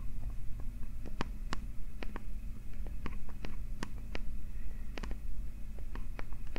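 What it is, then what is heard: Metal microphone grille. Fingertips and nails scratch and tap directly on the small, hollow metal capsule guards of a TASCAM recorder. Sharp, dry clicks with almost no ring are scattered across the clip over a steady, deep, muffled rumble. Faint scraping fills the gaps between them.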